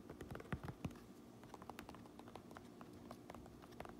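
Long nails tap and scratch the brim and black front panel of a fabric trucker cap with a red stitched brim and a Uinta patch. Quiet, dull, irregular taps mix with soft scratching, with a few louder knocks near the start. Each tap dies away almost at once.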